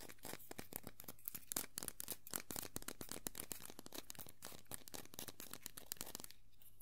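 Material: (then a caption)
Vinyl. Long nails scratch and tap across the hat and body of a small hollow vinyl Tuxedo Mask Funko Pop figure as it is held and turned in the hand. A dense stream of quick, bright, crackly scratches and clicks runs over a faint low hum, thinning out near the end.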